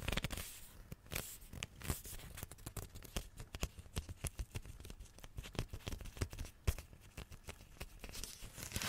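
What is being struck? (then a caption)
Rolled glossy wrapping paper. A roll of glossy wrapping paper on a hollow tube is held close and tapped and scratched with long nails. Rapid, dry taps with a low, hollow thump mix with bright, papery scratching and crinkling. Each sound stops almost instantly, leaving a busy, uneven patter.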